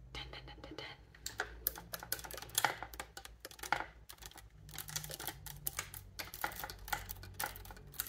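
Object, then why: Metal keywork on a wooden bassoon. Long painted nails rapidly tap and click the dense silver key mechanism on the wooden body of a bassoon, a large hollow instrument. The result is a quick, uneven stream of sharp, bright metallic clicks with very short decay over a faint low hum.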